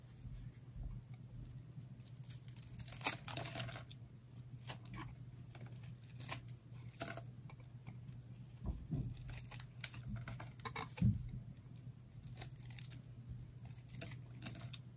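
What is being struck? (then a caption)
Layered bar of dry soap. A utility knife blade cuts and scrapes along the edge of a small solid stack of thin red and yellow dry soap layers held in the fingers. Quiet, dry scratches and crisp crunchy snaps come in uneven bursts over a low steady hum, with a few sharper cracks standing out.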